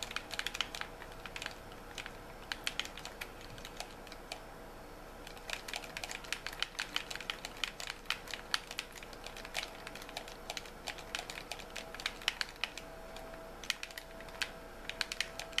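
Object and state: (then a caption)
Plastic game controller. A white hollow plastic gamepad is held in both hands while fingertips and nails tap and click on its buttons and shell. Quick, bright plastic clicks and taps come in irregular bursts, each dying away almost instantly, over a quiet background with a faint steady tone.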